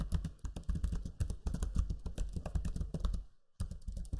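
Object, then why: Plastic laptop keyboard keys. Fingertips type steadily on the backlit black Lenovo Legion 5 laptop keyboard's low-profile plastic keys, producing a fast run of soft, dull clicks with a deep thump beneath each press. The typing pauses briefly near the end, then resumes.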